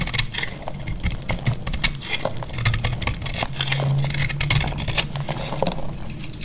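A solid cream dried-soap bar, held in the hand, is scraped and cut with a metal box-cutter blade and crumbles into flakes. Dense, dry, bright crackles and scrapes come in quick bursts over a steady low hum.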